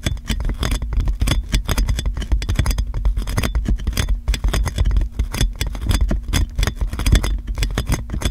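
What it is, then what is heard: Cling film wrapped on a microphone, scratched and tapped. Long nails scratch and tap clear plastic cling film wrapped around a metal microphone. The result is a dense, continuous stream of crinkling scrapes and quick taps with a heavy, boomy low end and short, dry clicks.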